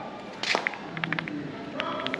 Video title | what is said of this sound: #67 - Musée de la noix de muscade à Grenade | Ça sonne creux. Et si c'est creux, c'est bon.